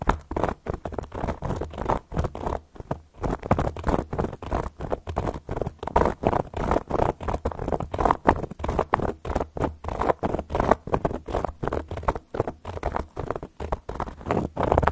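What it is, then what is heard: Cork coaster tapped and scratched with long nails. A solid, round, flat cork coaster is tapped and scratched with long gold metal claw nails, producing a rapid stream of short, dry scratchy taps and scrapes with no ring. The sound sits in the low-mid range around 600 Hz, with a dull low thump under it and almost no bright top.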